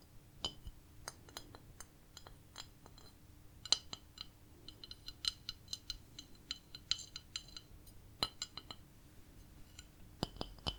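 A cat-decorated ceramic plate is tapped again and again, giving a scattered run of short, bright, glassy clinks with quick decay over a faint low hum. Some taps come in quick clusters and others stand alone, with no speech.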